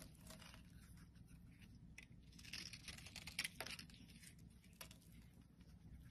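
A metal blade scrapes and carves shavings from a solid pale pink bar of soap held in the hand. Dry, crisp scraping and crackling rasps sit over a steady low rumble, with bright textured bursts swelling through the middle of the clip before settling back to lighter scraping.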